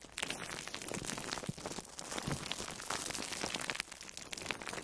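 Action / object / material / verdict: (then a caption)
scrape / foam sponge wrapped in plastic cling film / plastic film / none. An orange-slice-shaped foam sponge wrapped in plastic food wrap is pressed and squeezed with fingertips and long nails. A dense, continuous crinkling and crackling fills the clip, full of quick, bright plastic snaps with little low end.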